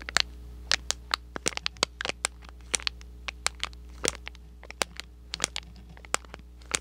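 A small, thin, hollow and empty red and white printed cardboard box is scratched with short nails and crinkled with fingers near the microphone. The result is an irregular series of sharp, bright, dry clicks, crackles and scratches that cut off almost instantly, over a steady low hum.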